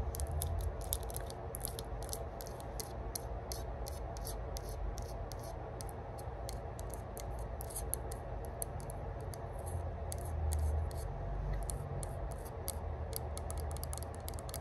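Long burgundy nails scratch and tap the flat metal top of a small, hollow rose-gold metal herb grinder lid engraved "Spark," held close up. Quick, irregular, bright clicks and crisp scratches repeat about three to four times per second. They decay instantly over a steady low rumble.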